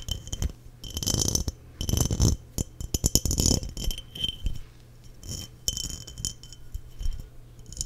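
Long nails tap the body of a clear, hollow, empty glass mason jar held in hand near the microphone. Bursts of quick, rattling taps and clicks give bright glassy highs over a close, low thumping body. Each tap dies away almost at once, with short pauses between the flurries.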